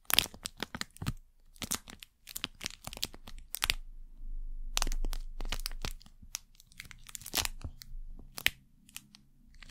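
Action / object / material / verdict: scrape / thin plastic wrapper packet / plastic / none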